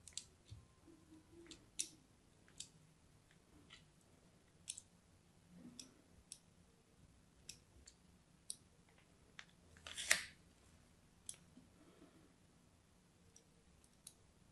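A solid purple-and-white striped soap bar, held in a hand with long pink nails, is scored and cut with a thin blade. About thirteen short, bright clicks and scratches stand apart over a quiet background, with a louder, longer crunching scrape near the ten-second mark.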